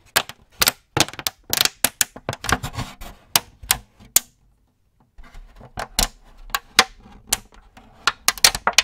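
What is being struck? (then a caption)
Thin clear plastic cookie tray. An empty clear plastic cookie tray, held in both hands, is flexed while fingertips tap and crinkle the thin plastic. The result is a rapid series of sharp, bright clicks and crackles with very short decay. A brief pause falls near the middle before the tapping resumes.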